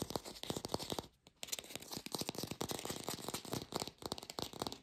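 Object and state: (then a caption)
Fake plastic green apple. An artificial plastic green apple is tapped rapidly with no microphone, giving lo-fi sound. Dense runs of short, dry, bright clicks with a crinkly texture follow one another closely. There is a brief pause just after the first second before the tapping resumes.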